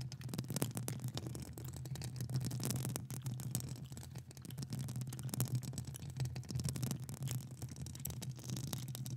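Long acrylic nails on one hand, with the other hand gloved, scratch and tap the hollow metal mesh grille of a large studio microphone throughout. The result is a dense, continuous rasping and crackling over a strong low, boomy resonance, with quick taps and brighter scratchy bursts layered on top.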